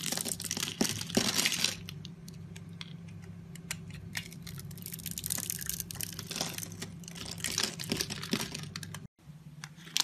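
A utility knife blade slices and scrapes small cubes off a solid pink rectangular bar of soap with a scored grid surface, held in the palm. Crisp, bright crinkling scrapes and quick cuts come in uneven bursts over a steady low hum, with a brief drop to silence near the end.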